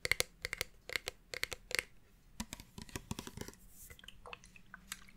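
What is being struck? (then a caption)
Plastic fragrance mist spray bottle. Long painted nails tap and scratch along a red plastic Bath & Body Works fine fragrance mist bottle, about 20 cm tall with a clear cap and gold band, hollow and partly full of liquid, held in one hand. Quick, bright clicking taps come first, followed by softer, rustling scratches along the plastic.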